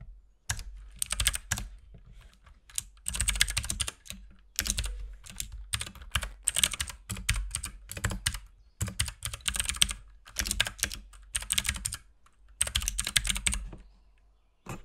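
A compact RGB mechanical keyboard with white and pink plastic keycaps is typed on with the fingertips of both hands throughout. Bursts of quick, bright clicky taps with a low thock are separated by short pauses. Each keystroke is dry and dies almost instantly.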